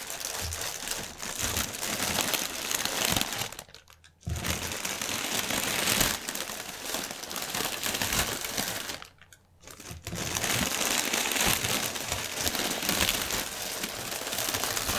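Fingertips with medium painted nails scratch and press a strip of inflated, hollow, air-filled clear polyethylene air cushions (Sealed Air packaging) lying flat on a white table. The result is dense, bright, continuous crinkling and crackling, with two brief quiet pauses near 4 and 9–10 seconds.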